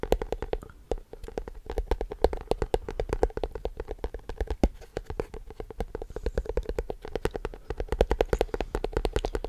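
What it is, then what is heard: Plastic tub. Fingertips and nails rapidly tap the side and base of a large, hollow, empty white plastic tub with a blue label, held in the other hand. The result is a steady stream of dull, hollow knocks with a mid-pitched body around 450 Hz, a low thump beneath, and very little ring after each tap.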